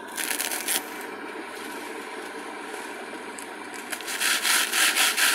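A purple glitter craft foam sheet is handled and bent between the fingers while long nails scratch and rub its surface. A bright, gritty scratching burst opens the clip, then gives way to a quieter, steady rustle, before louder rhythmic rasping strokes build toward the end.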